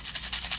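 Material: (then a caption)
Glass beads. A paper shaker tag is shaken, and the little seed beads loose inside rattle with a bright, hissy patter. Three quick shakes are heard in this short clip.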